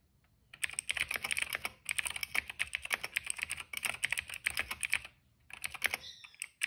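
Fingertips of both hands type fast on a cream plastic mechanical keyboard with black and purple keycaps and a hollow case. Rapid, bright, sharp clacks come in quick bursts with very short ring and almost no low end. Brief pauses break the typing near the second and fifth seconds.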